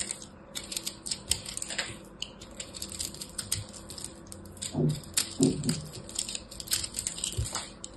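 A small black blade cuts and scrapes a hand-sized solid chunk of pressed blue and purple soap chips, a crushed soap ball. It gives a steady run of crisp, dry crumbling ticks with bright, high crackle, and a couple of fuller, lower scraping bursts near the middle. The ticks are short with almost no ring.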